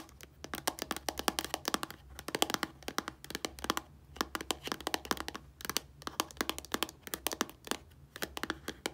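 Long nails tap and scratch across the surface of a small, hollow, filled white plastic shampoo bottle lying on a table. Rapid bursts of sharp, bright clicks come in quick clusters with brief pauses, each tap dying out almost instantly. A faint low hum sits underneath.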